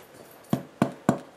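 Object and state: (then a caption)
Hollow-sounding baked bread loaf. A no-knead bread loaf, baked a final 15 minutes uncovered at 500°, is tapped four times, each tap giving a short, dull, hollow thump. The hollow sound means the loaf is baked through.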